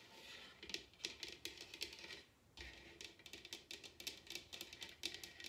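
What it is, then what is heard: Bamboo bowl tapped with nails. Long nails tap and scratch a large, hollow, upside-down bamboo wooden bowl, giving a quick run of dry, bright clicks over a soft, high scratching hiss. Each tap dies away almost at once, with a tonal peak near 3.5 kHz and almost nothing in the low end. The sound pauses briefly near the middle, then the tapping picks up again.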